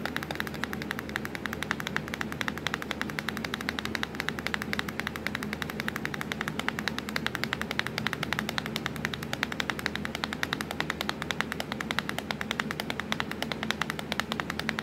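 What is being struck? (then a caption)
Plastic laptop keyboard keys. Long pointed acrylic nails tap rapidly on the black plastic keys of a hollow laptop keyboard, with the Windows key visible. A steady stream of quick, bright clicks runs for about fifteen seconds, each tap short and dry over a faint low hum.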